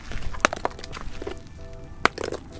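A grilled rock oyster whose shell has not opened is tapped with a hammer to crack it, producing sharp, dry knocks over low background noise. The taps take on a hollow sound, taken to mean the shell has separated, and the oyster is then opened and judged cooked.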